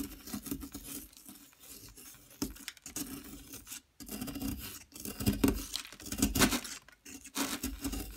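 A metal pick chips and scrapes at a yellow plaster excavation block, with chunks breaking off. The result is a steady run of gritty, crumbly scraping and rasping across a broad range from low thuds to bright hiss, broken by brief pauses and louder bursts as pieces give way.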